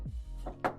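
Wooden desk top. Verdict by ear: Veneered.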